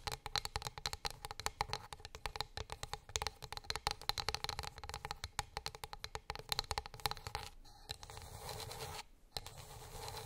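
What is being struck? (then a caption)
Flat wooden plate. Long nails tap rapidly on a flat, solid, light wooden board, a wooden plate, making a dense run of short, dry, bright clicks with a faint hollow tone. Toward the end the tapping gives way to a steadier, light scratching across the wood, broken by a brief silence before the scratching resumes.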